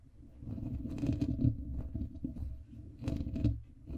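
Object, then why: Foam microphone windscreen. Fingertips and nails from both hands scratch and tap across a soft, porous black foam microphone windscreen. The result is a dense, muffled, low rustling and crunching, with louder swells around 1.5 and 3.5 seconds and almost no high-end content.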